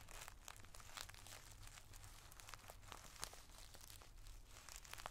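A clear plastic zip-top bag full of multicolored tissue paper squares, held flat with one hand, is tapped and scratched with the tip of a wooden drumstick pencil. Quick bright crinkles and crunchy ticks run continuously over a low steady hum.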